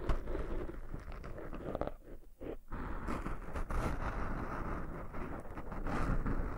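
Fingertips scratch and rub two black foam windscreens made of soft porous foam on a pair of binaural microphones, producing a dense, muffled scratching and rustling with a heavy low rumble. The rubbing briefly eases and drops quieter around the two-second mark, then resumes steadily and grows slightly louder toward the end.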